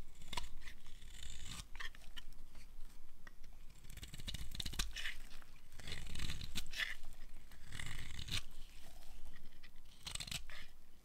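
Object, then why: Bar of soap cut with a small blade. A small metal blade cuts and scrapes thin curls off a pink-and-white striped dry bar of soap held in hand. The sound is a steady run of soft, crunchy scraping and shaving strokes with brief bright crackles and a low rumbling undertone.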